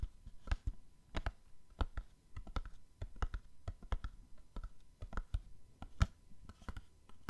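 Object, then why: Small printed cardboard box. Fingernails tap a small, hollow, printed cardboard gift box in a quick, irregular series of light taps. Each tap is a short, dry click with a soft hollow low thump beneath it and no ring. The box gives a quiet, close patter throughout.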